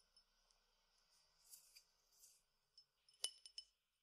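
A clear glass tumbler partly filled with peppercorns is tilted and shaken so the peppercorns rattle softly against the glass in quiet, hissy bursts. It is then tapped with the nails, giving five sharp, bright clinks that die away almost instantly.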